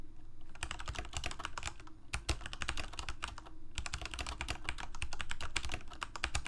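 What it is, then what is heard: Plastic mechanical keyboard. A full-size Corsair mechanical keyboard with plastic keycaps on mechanical switches, a hollow plastic case and blue backlight is typed on rapidly with the fingertips of both hands. The result is a dense run of sharp, bright clicks and clacks over a low, hollow thud. There are brief pauses near 2 and 3.7 seconds.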